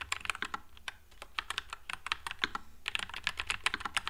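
Fingertips type continuously on a white low-profile NuPhy Air96 mechanical keyboard with Wisteria switches and plastic keycaps. About two dozen quick, bright, clacky keystrokes sound in an uneven rhythm, each dying almost at once, over a faint low hum.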